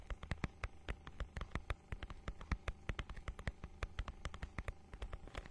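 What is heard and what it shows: Long nails scratch the holographic, scale-textured plastic cover of a notebook-sized book, making a rapid, uneven series of sharp, dry ticks that spread up into the high range and stop almost instantly. A steady low hum sits underneath throughout.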